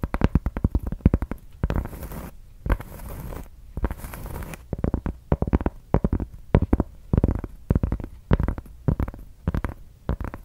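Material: Cork.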